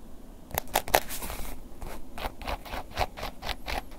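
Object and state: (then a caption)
Embossed leather wallet scratched. A black woven-embossed leather long wallet, held upright, is scratched along its top edge and face with a wooden ear pick. Short, dry, bright scratching strokes come in quick bursts over a soft low background, each dying away almost at once.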